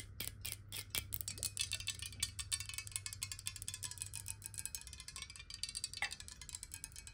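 Long nails tap rapidly on the sides and base of a clear glass bottle filled with water as it is turned in the hands. The result is a quick, uneven stream of bright, clicky taps with short glassy rings, over a low steady hum that fades out about two-thirds of the way through.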